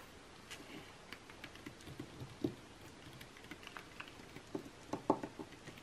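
Long nails tap and scratch across the same page spread of printed makeup ads in an open glossy magazine lying flat, its thin coated paper giving soft, dry ticks and brief papery scrapes. The quiet, irregular taps are short and clicky with little ring, with a couple of slightly louder strikes near the middle and toward the end.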